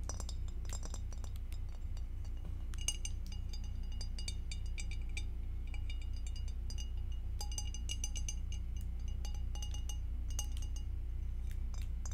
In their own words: Tapping on glass with acrylic nails